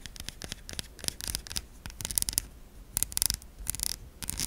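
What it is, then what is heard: Bar of soap. A solid white oval bar of soap held in a hand as long nails tap and scratch its embossed top. Quick, dry, bright clicks and scratchy rasps come in uneven bursts with almost no ring, over a faint low background.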